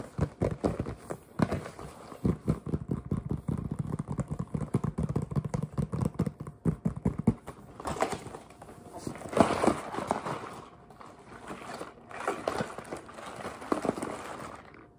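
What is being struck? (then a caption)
Closed cardboard box. A large, closed red cardboard box of Nestlé candy is turned in the hands and tapped with fingertips on its front and side panels. Dense, rapid, dull taps and soft scuffs fill the first half, with a low, hollow body. Breathier rustling and handling noise follows in swells toward the end.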